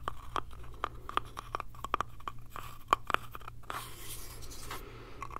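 Fingernails tap and scratch the sides and edges of a small hollow light-wood box with a metal hinge, held in the hands. Short, dry taps with a hollow ring near 1.1 kHz come in an uneven rhythm, broken by brief bright scratching rasps. A steady low hum runs underneath.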